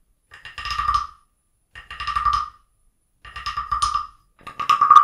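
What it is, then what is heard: Wooden frog guiro. A small, hollow carved wooden frog guiro with a ridged back, resting on an open book, is scraped and tapped along its back with a wooden stick. Four separate rasping strokes each produce a quick run of dry clicks that blend into a croaking tone around 1.2 kHz, and the last stroke is the loudest.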